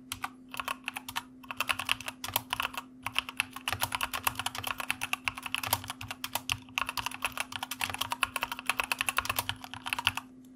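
A white plastic mechanical computer keyboard is typed on rapidly with the fingertips of both hands, producing fast bursts of short, bright clacking keystrokes with brief pauses between runs. A faint steady low hum sits underneath the clicks.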